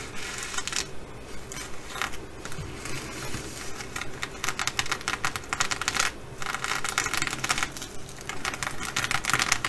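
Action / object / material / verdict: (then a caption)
scrape / sequin fabric bag scratched with long nails / sequins / none. Long acrylic nails, first on one hand and then on both, scratch and tap the sequins of a blue reversible flip-sequin fabric bag lying flat. The result is a dense, continuous stream of quick, dry clicks and crackly scratching, bright and centred around 2 kHz. The texture grows busier and slightly louder toward the end, over a faint low rumble.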